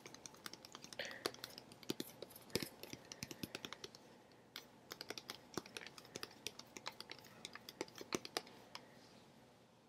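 A teal Contigo plastic water bottle, hollow and partly filled with water, is held upright near the mic and tapped rapidly with long fingernails. Dozens of short, sharp, bright clicks come in quick, uneven bursts, with a brief lull just past the four-second mark. Each tap dies away almost instantly.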